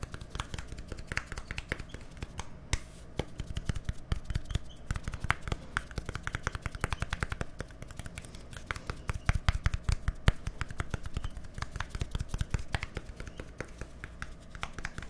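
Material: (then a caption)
Plastic. A small, hollow white plastic deodorant stick with a green cap is held close to the microphone and tapped rapidly with fingertips and nails. The result is about fifteen seconds of dense, irregular, dry clicks and taps that stop instantly, over a steady low hum.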